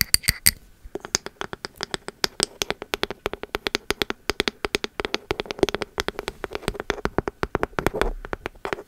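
A pink ceramic candle vessel with an engraved bamboo lid is tapped and scratched on its body and lid with long metal nail caps. A rapid run of about 59 short, crisp clicks and taps follows, with bright, high-pitched ticks at the start and faint scratching between strikes. Each hit dies away almost instantly.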